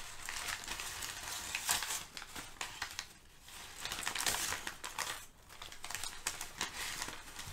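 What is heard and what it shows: Sheets of crinkled brown kraft packing paper, held at the edges by both hands with painted nails, are crumpled and rubbed together. The result is a dense, bright crinkling and crackling with louder rustling bursts, a brief quieter dip midway, and very little low end.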